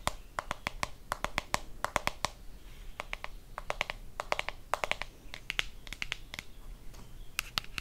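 Long fingernails tap and scratch a hand-sized blue plastic deodorant stick container. About 37 sharp, dry clicks come in quick irregular clusters, bright and hollow-sounding, each dying away almost instantly. Faint scratchy rustling fills the gaps between them.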